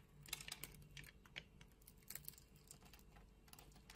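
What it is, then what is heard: Bar soap being cut. A solid green bar of soap, held in the hand with long red nails, has its surface sliced and scraped with a metal utility knife blade. Quiet, bright, crisp clicks and short scratchy scrapes follow one another in quick irregular bursts, each dying away almost instantly.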